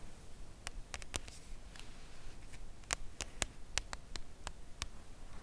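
Long nail tips tap slowly on the face of a full, red Lindor cardboard chocolate box lying flat on fabric. A series of sharp, dry, bright clicks stands out, each fading almost at once over a quiet, low background rumble.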